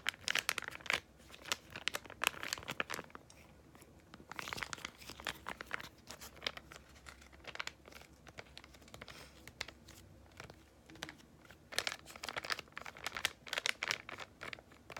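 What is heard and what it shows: A small yellow Freeman clay mask sachet of laminated foil-plastic is held in both hands, crinkled and scratched with long painted nails. Dense, bright crackling and scratching comes in bursts separated by quieter stretches, with sharp crisp transients and almost no low end.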